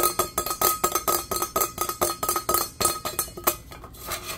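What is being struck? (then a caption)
Stainless steel tumbler. A medium-size, hollow, teal powder-coated stainless steel insulated tumbler with a lid is tapped quickly with fingertips and nails, producing about 19 fast, unevenly spaced metallic clinks. Each tap has a bright attack and a brief hollow ring centered near 350 Hz with a steady overtone around 1.2 kHz. The taps grow softer and sparser toward the end.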